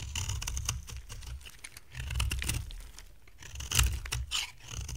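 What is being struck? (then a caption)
Bar of soap cut with a blade. A utility knife blade carves a solid, dry amber-brown soap bar as dry flakes fall away. Crisp, irregular scraping strokes carry a bright, papery crackle over a soft low rumble. The loudest cuts come near the middle and just before the end.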